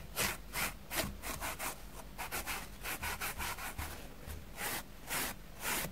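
A plastic spoolie brush is scraped repeatedly across a dusty, grey, porous foam sponge block in strong rubbing strokes. Each stroke makes a short, bright, scratchy burst of broadband noise, and the strokes come in a fairly quick, somewhat uneven rhythm over a faint low hum.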